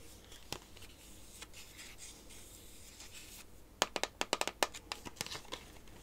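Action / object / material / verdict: tap / cardboard playing-card box with plastic window / cardboard / none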